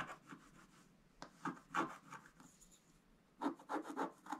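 A wooden stylus scratches fine lines into a flat, thin scratch-art page with a black coating over gold foil. About ten short, dry, rasping strokes come at an uneven pace, with quiet pauses between bursts. Each stroke stops cleanly with no ring.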